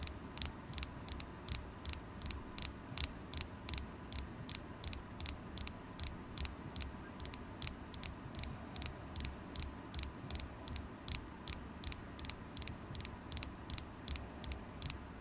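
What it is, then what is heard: Carnelian crystal point tapped with nails. A solid polished carnelian crystal point is held in the fingers and tapped with long acrylic nails. It makes 46 sharp, bright, dry clicks at a loosely steady pace of about two and a half per second, each dying away almost instantly. A faint low rumble sits underneath.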